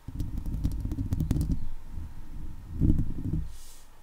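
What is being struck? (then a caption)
Steel wire-mesh microphone grille. Long leopard-print nails scratch and tap the top and sides of a hollow steel wire-mesh microphone head. The sound is a close, muffled, rumbling scrape, heavy in the low end, with faint bright clicks from the taps. It swells again near the end before fading.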